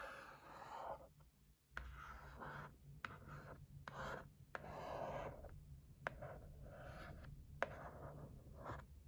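Long painted nails and fingertips tap and scratch the lid of a closed, white printed cardboard facial massage gift set box lying flat on a table. Soft, hollow papery scratching and rubbing swells in and out, broken by sharp, dry nail clicks that stop instantly with no ring. The sound stays quiet and close, with a low steady hum underneath.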